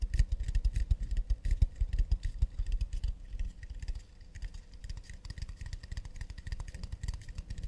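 Long nails tap and scratch the wooden back of a round acacia plate turned underside out. The clip is a fast, irregular run of short, dry taps with deep low thumps and a light, bright clicky edge. The tapping is louder and denser in the first three seconds, then softer and lighter.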